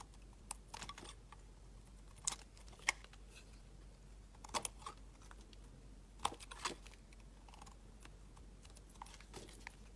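A utility knife blade shaves thick curls from a solid translucent orange glycerin soap bar. The result is a series of short, crisp scraping cuts with bright, sharp edges. They come at irregular intervals over a quiet, steady low hum.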